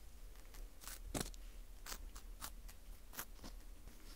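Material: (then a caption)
Wheat gluten. A teal plastic scraper scrapes a porous dried wheat gluten ring (fu) with a hole, shedding crumbs. Soft, dry, crackly scratches come in short bright bursts over a quiet, low rumbling background.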